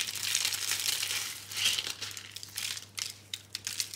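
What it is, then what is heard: Dry soap roses crushed. Fingers crush and rub thin, brittle, pink-brown dry soap rose curls into flakes on a green surface. The result is a dense, bright, crisp crinkling and crackling, loudest in the first half, that thins into scattered sharp crackles toward the end. A faint steady low hum runs underneath.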